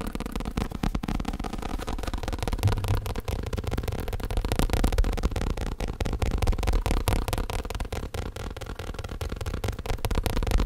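Fingertips and nails tap fast on the padded surface of a black fake leather elbow rest standing upright. The result is a continuous stream of soft, dull, low thuds with almost no high-frequency click or ring, in a quick, uneven rhythm.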